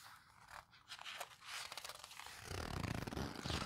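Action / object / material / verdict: scrape / paper photo book / paper / none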